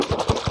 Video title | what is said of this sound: DIY.วาล์วลูกลอย(เสีย) แก้ปัญหาน้ำล้นถัง ใช้ดี ทนทาน ใช้นาน 2ปีไม่เสีย | หนักนะครับผมลองเขย่าดูนะครับนี่ มาชมได้ยินนะครับอัน นี้คือน้ำอยู่เต็มเลยนะครับเนี่ย